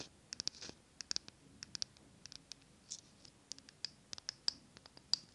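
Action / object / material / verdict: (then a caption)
tap / small glass candle jar tapped with fingernails / glass / none. Long nails tap and scratch the glass sides and rim of a small glass jar candle full of solid green wax, held close to the microphone. Quick, bright, high clicks come in an uneven series, mixed with short, airy scratching strokes over a quiet background. Each tap stops almost instantly.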